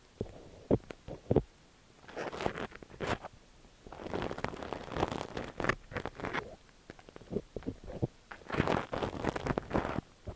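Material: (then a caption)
Silicone. A thin steel ear pick scrapes and scratches inside the ear canal of a cream silicone dummy-ear microphone. Close, rustling scratches come in bursts, with several sharp clicks standing out early on. Denser scraping follows in waves.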